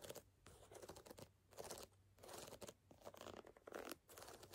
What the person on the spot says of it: tapping and scratching on a canvas sneaker